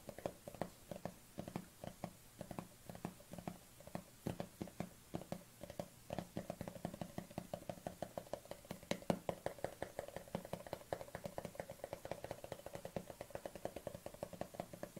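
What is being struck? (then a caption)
Small plastic tub with lid. Fingertips and long dark-painted nails tap and scratch the side and lid of a palm-sized black plastic collagen supplement tub with a white label, held in the hands with its lid on. The result is a steady stream of rapid, dry, hollow taps with a low plastic body tone, each dying away almost instantly, mixed with faint scratchy rasps.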